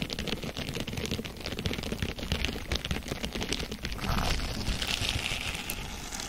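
A small blue crinkly plastic mesh sponge, hollow, porous and flexible, is held in both hands away from the microphone and squeezed, crumpled and scratched with long painted fingernails and fingertips. Dense, rapid crinkling crackles and scratchy clicks run continuously over a soft low rumble, with a brighter, louder rustling swell from about four seconds on.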